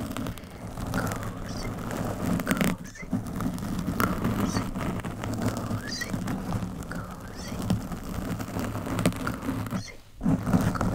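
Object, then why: Foam microphone windscreen. Long metallic nails scratch a soft, porous black foam microphone windscreen with both hands. The result is a close, continuous, dense crackling rustle weighted toward the low end, with brief drops in level around the third and tenth seconds before the scratching resumes.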